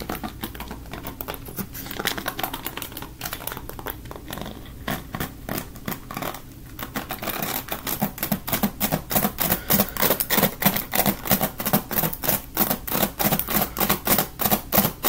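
A black plastic paddle hairbrush with plastic bristles is held in one hand while fingertips flick and strum across the bristles. Rapid, dry, crackly ticks and short bristly rasps run throughout, softer and more scattered at first, then louder and more rhythmic in the second half.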